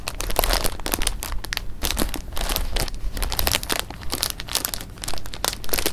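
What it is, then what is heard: Plastic bag of jelly beans. A clear plastic bag of jelly beans is held up in both hands while the fingers squeeze and crinkle it, shifting the beans inside. The result is a steady stream of dense, bright plastic crinkles and crackles over a soft low rumble, with brief pauses where the handling slows.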